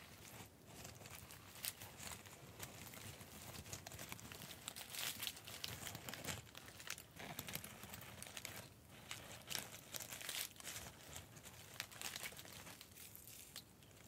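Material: Metallic tinsel.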